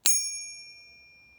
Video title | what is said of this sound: Ping Test Silver Bars - The Shiny Pingy Fake | this has that pop of silver at the beginning and then a slow trail off to about three or four seconds